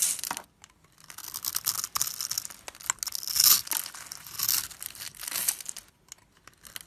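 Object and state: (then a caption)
Bar of soap being carved. A solid rectangular yellow bar of soap, pre-scored in a grid and held in the fingers, is scraped and carved with a metal blade so small cubes crumble off. Bright, crisp scraping and crumbling crackles come in uneven bursts separated by brief quiet pauses, with almost no low end.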